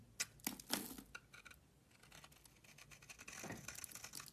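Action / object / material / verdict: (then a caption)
scrape / bar of soap shaved with a metal blade / soap / none. A metal utility knife blade shaves a solid beige oval bar of soap held in the hand, scraping off powder and flakes. A few sharp, crisp scrapes come first, followed by a run of quieter, bright, dry scraping and crumbly shaving sounds.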